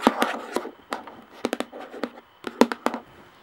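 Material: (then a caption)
Plastic. Long nails tap on the flat top of a round plastic screw lid sitting on a clear plastic jar. About eleven short, dry, hollow clicks fall in an irregular rhythm, each dying away almost at once, with a light scratchy rustle between some taps.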